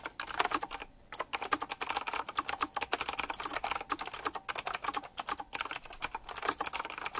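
Fingertips type quickly on a full-size typewriter-style mechanical keyboard with round black plastic keycaps, chrome-look rims and a metallic frame. A dense stream of sharp, bright clicks and clacks, with almost no low end, is briefly interrupted by a short pause near the one-second mark. Each keystroke ends almost instantly.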